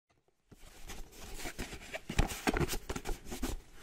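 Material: Cardboard.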